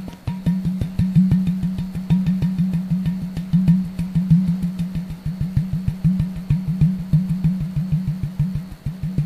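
Fingertips tap quickly on the neck and shoulder of an empty, clear plastic Sodastream bottle of about 1 liter, with the cap off and a hand hovering over the opening. The taps make a steady stream of hollow, low thumps with a boomy resonant tone, each ringing briefly. The rhythm is irregular and the taps come in dense, rolling runs.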